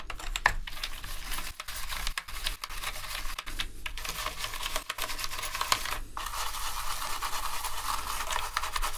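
A full-size black plastic gaming keyboard with hollow plastic keycaps lies on a dark mat while gloved hands scrub across the keys with a green toothbrush and a second small brush. Continuous scratchy brushing runs throughout, with light plastic key clatter and brief gaps where the brush lifts.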